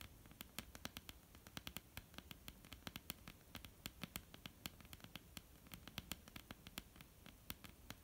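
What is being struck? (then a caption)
Wooden tabletop. Long polished nails of both hands tap and lightly scratch a flat, solid, dark wooden tabletop. Many quick, sharp, dry clicks come in an irregular patter, with a bright top and a soft low thump. Faint scratching and a low hiss sit between them.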